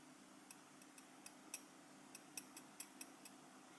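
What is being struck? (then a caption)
Small enamel metal lapel pin tapped with a steel knife tip. A small solid enamel metal lapel pin badge, held in the fingers, is tapped on its back and enamel front with the tip of a steel cheese knife. Ten faint, bright, high-pitched ticks sound at an uneven pace, each dying away almost at once over a steady low hum.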